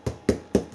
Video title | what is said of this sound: Sunday Night Night Cap 37 | It sounds hollow. It's cooked all the way through. That's done.